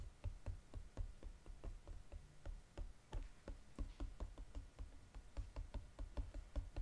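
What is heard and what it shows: Fingertips and nails tap rapidly on the gold foil-coated bottom of a flat Godiva cardboard box. The result is a quick, uneven stream of dull, low thumps, each with a faint short click on top. Every tap dies away almost instantly.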